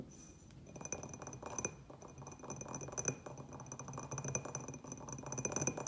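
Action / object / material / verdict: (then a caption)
tap / small terracotta clay pot with glazed rim / terracotta / none. Fingernails tap quickly around the rim and sides of a small, hollow terracotta clay pot with a white glazed upper band, empty apart from a little soil residue. The result is a rapid, continuous run of short, bright clinks with steady high ringing tones over a softer, hollow low body.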